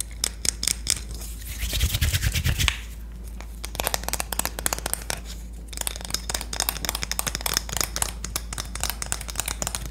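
A Korean wooden spoon is tapped and scratched, giving a rapid string of short, dry, bright clicks. A louder rough scratching burst near the start has a low rumble beneath it. After a brief lull, the sharp, crisp tapping resumes densely.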